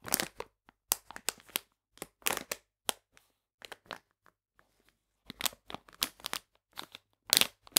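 A full plastic bag of polenta is held in the hands while fingers crinkle and squeeze its folded edges. The result is a series of short, dry, bright crackling bursts separated by brief silences, with almost no low end.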